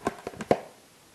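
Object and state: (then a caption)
Glue-coated styrofoam panel sounding like plastic. Four light taps on a styrofoam panel from a Christmas village waterfall and river, coated with two layers of glue, give short, dry, plastic-like knocks with almost no ring, the last tap loudest. The plastic sound shows the glue layers have waterproofed the panel correctly.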